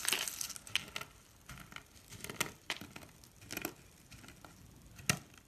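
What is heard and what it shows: Pink and blue dry soap flakes and curls, solid and brittle, are crushed in the hand and crumbled with the fingers. The result is a dense, bright crackling at the start, followed by scattered dry crunches and crisp snaps. One sharp, loud crack comes near the end, and each sound dies away almost instantly.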